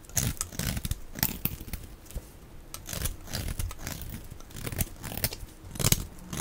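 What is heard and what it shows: A steel utility-knife blade scrapes and carves flakes off the end of a solid, dry pink bar of soap held in the hand. Repeated short, crisp scraping and crunchy shaving strokes come in uneven bursts, each with a bright, gritty edge over a soft, low body.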